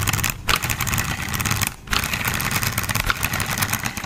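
A green and black hollow plastic toy car, held upside down near the microphone, has its wheels flicked and its plastic chassis tapped and scratched with fingertips. The result is a dense, fast stream of bright clicks, taps and scratchy rustling over a low rumble, with two brief quieter dips near 0.4 and 1.8 seconds.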